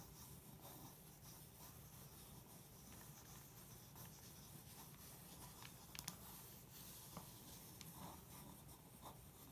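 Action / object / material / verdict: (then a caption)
scrape / glossy paper magazine pages under a pencil tip / paper / none. A pencil tip scratches and traces along the photo and headline on the thin pages of an open glossy paper magazine spread on carpet. A quiet, steady papery scratching runs throughout, broken by a few sharper ticks near the end.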